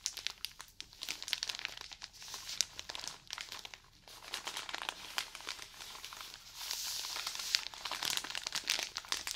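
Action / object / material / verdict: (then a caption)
scrape / cotton pad roll in plastic film / plastic film / none. Fingernails scratch and crinkle the plastic film on a wrapped roll of cotton pads held beside the mic. Dense, bright crackles and rustles come in quick bursts with no low end, growing busier and louder toward the end.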